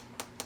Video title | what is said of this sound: UNBOXING A MYSTERY BOX 📦 OF VINTAGE MATTEL BARBIE DOLLS - LIFE-SIZE BARBIE DREAM HOUSE | have a hollow torso, so they kind of click when you tap on them with your finger